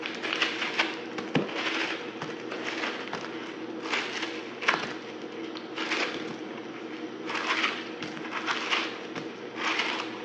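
A small, solid piece of dried soap with a pink glitter crust and white inside is held in the hand and carved and scraped with a yellow-handled utility knife. A series of dry, crackly scraping bursts sounds bright and crisp, with sharp little cracks between strokes. Crumbs fall onto the flaky pile.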